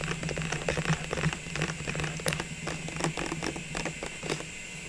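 Long fingernails on both hands tap rapidly on the sides of an open clear plastic tube filled with small red, green, gold and white ornaments, with its removed lid lying untouched beside it. The taps are quick, light and irregular, with bright plastic clicks that die away almost at once. A steady low hum runs underneath throughout.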